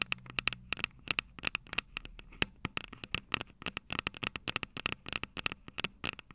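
Long purple nails tap and scrape the tops of the silver metal mic capsules on a Tascam DR-05 handheld audio recorder. The result is a quick, irregular run of dozens of dry, bright clicks and short scratches, each ending almost instantly over a faint steady tone near 2.6 kHz. A soft low hum sits underneath during the first second.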